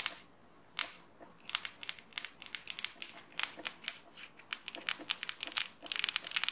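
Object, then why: Plastic highlighter marker barrel. Long painted nails scratch and tap along the barrel of a small, hollow, yellow-and-black plastic highlighter pen held in both hands. The sound is a quick, irregular run of sharp, dry, bright clicks and scratchy ticks with almost no low end. Each one dies away almost instantly, and the taps come closer together toward the end.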